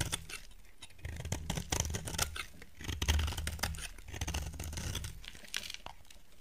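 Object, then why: Soap bar cut with a knife blade. A utility knife blade carves a solid, dry green soap bar, sending curled shavings piling up. Crisp, bright scraping and crackling cuts come in uneven bursts over a low, steady rumble.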